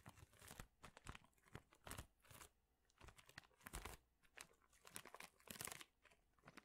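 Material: Plastic, wood.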